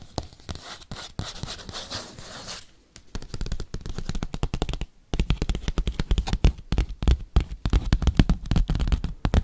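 A padded bubble mailer envelope is tapped and scratched with paperclips. A dense stretch of soft scratching gives way to fast, irregular tapping. The taps are short, low and thuddy, with little ring.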